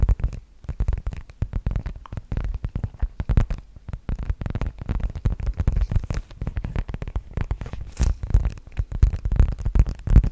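Long nails tap and scratch the flat surface of a medium-sized black leather (possibly faux) zip-around wallet held in both hands in front of a microphone. The result is a dense, irregular stream of short, dull, muffled thumps and rubs, heavy in deep low-end rumble with almost no brightness. Each tap dies away almost instantly.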